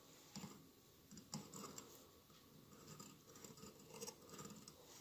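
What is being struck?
Glass mosaic candle holder.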